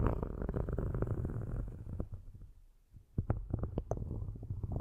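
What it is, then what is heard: Metal microphone grille being scratched. Metal-tipped sticks scratch across the metal grille tops of two black cylindrical microphones, making a dense, low, rumbling scrape with quick ticking strokes. The scratching fades to near silence just before the three-second mark, then resumes with sharper, brighter clicks mixed into the low rasp.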